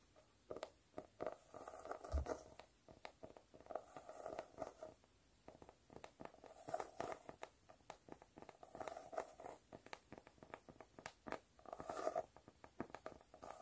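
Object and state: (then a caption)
Cork notebook cover. Long black and white nails scratch and tap quickly across a speckled cork notebook cover. The result is a quiet, dry stream of rapid scratchy bursts and short clicky taps, with a soft midrange hiss and little low or high content.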